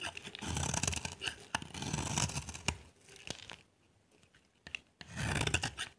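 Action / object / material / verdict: scrape / bar of soap scraped with a knife blade / soap / none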